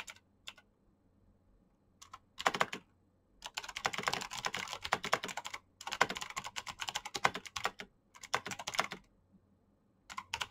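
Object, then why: Plastic mechanical keyboard. Both hands type fast with their fingertips on a black plastic backlit mechanical keyboard with clicky switches. Bursts of sharp, bright clicks run in quick runs, separated by short quiet pauses.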